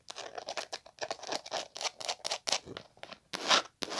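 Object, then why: Leather-covered hard glasses case. Long nails tap and scratch the top and the edge near the metal snap of a small, hollow, dark green leather hard glasses case with a gold emblem. Quick, dry scratching strokes and taps come in bursts with short pauses between them, bright and crisp with no low rumble, and the louder scrape comes near the end.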